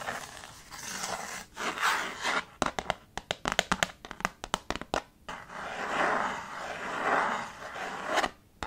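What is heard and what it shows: A small rectangular children's chalkboard, a dark painted board in a red wooden frame lying flat on a table, is scratched and rubbed with knuckles and fingertips. Dry, hissy scraping fills the opening seconds, then a quick run of sharp, dry knocks with no ring, then steady rubbing scrapes return before one last knock.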